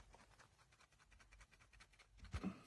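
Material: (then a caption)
Plastic. The plastic right earpiece of JLab Rewind 2 retro wireless headphones, the side with the controls, is shaken while the headband stays still, and a fully loose piece inside rattles with quick, faint clicks. A louder bump near the end closes the clip. The rattle is a fault that is constantly annoying when the headphones are worn, unlike the solid left earpiece.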